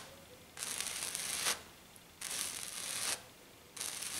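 Long black nails scratch and tap across a flat silver glitter-coated sheet, mostly with one hand. Three bright, rasping scratching bursts sweep over the sheet, separated by brief quiet pauses.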